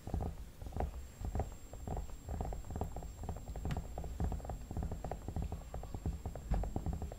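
Fingertips tap and rub the cheeks and the temples near the hairline of a hollow vinyl mannequin head. The result is a continuous run of soft, muffled, low thumps and rubbing, short and dull with almost no ring. A faint steady high tone sits underneath.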